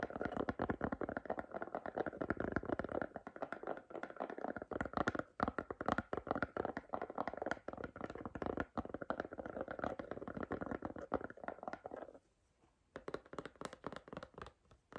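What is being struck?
Silicone phone case.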